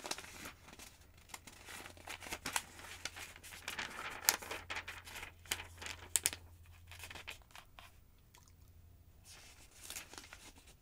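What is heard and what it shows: Fingertips with long nails lift and turn the thin yellow paper pages of a large open phonebook resting on a wooden table. Crisp, bright rustles and crinkles come in irregular bursts, with sharp flicks as each page snaps over, against a faint steady low hum.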